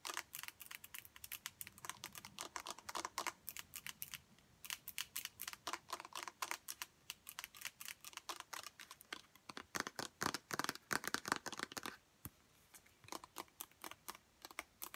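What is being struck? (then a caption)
Plastic pump bottle. Long nails tap fast on the front of a large 1-litre white plastic Sorbolene pump bottle. The taps are rapid, dry and clicky, bright in the upper mids and treble with almost no low end. They run in quick bursts, with a short pause near the twelve-second mark.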